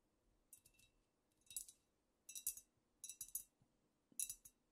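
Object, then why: Glass bottle. Long nails tap a squat amber glass cognac bottle that appears to be filled, and tap and scratch near its glass top. Five quiet bursts of quick, bright clinks with very short ring are heard in an irregular rhythm, separated by near silence.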